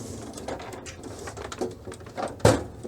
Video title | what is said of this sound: Panasonic SA-HT820V (the one with VP!) | if I pick it up and shake it, there's like rattling inside here